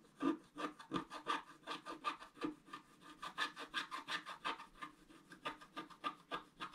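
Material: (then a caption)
Coated card. A wooden stylus scratches long strokes over the basin of a drawing on a flat scratch-art card (black coating over colored foil) lying on a table. The result is a quick, somewhat irregular series of dry, rasping scrapes, each short and clipped, with a mid-pitched scratchy tone and a bright, hissy edge.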